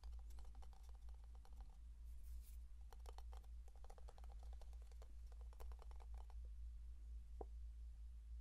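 Fingertips and nails tap and scratch the lid and body of a small plastic Vaseline jar with a blue lid. Quick, light, crisp clicks and brief scratches come in bursts over a steady low hum, with a pause near the middle. A single sharper tap lands near the end.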